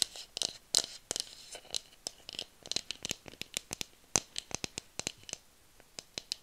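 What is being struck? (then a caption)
Bamboo tube. Long nails scratch and tap the surface of a hollow bamboo tube, producing a quick, irregular series of sharp, dry clicks and brief scratchy rasps. The sound is bright and thin, with almost no low end, and each tap dies away instantly.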